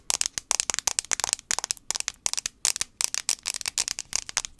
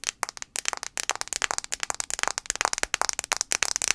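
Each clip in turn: First: plastic phone back. Second: fingernail tapping on a phone glass screen.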